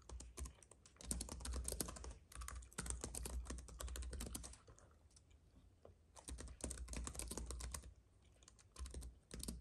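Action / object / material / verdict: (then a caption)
tap / keyboard with plastic keys on an aluminium base / plastic / none. Fingertips of both hands type on a compact white keyboard with plastic keys on an aluminium base, resting on a fuzzy mat. Rapid, uneven bursts of bright, clicky key taps come in flurries, broken by short, quieter pauses, over a steady low hum.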